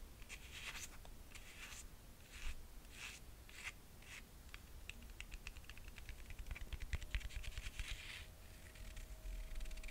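Long painted nails tap and scratch the red suede or leather straps and the cork or suede footbed of a single solid red slide sandal with a gold metal buckle, held in the hand. Quiet, irregular bursts of bright, dry scratching and soft taps repeat throughout over a low background rumble. A faint steady tone enters in the second half.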